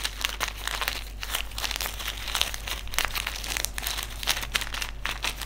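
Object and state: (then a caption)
Silica gel desiccant packet being crinkled. Fingertips fold, crinkle and rub a small white silica gel desiccant sachet filled with silica beads. A steady run of dry, bright crinkling and crackling follows, with quick sharp peaks over a faint low hum.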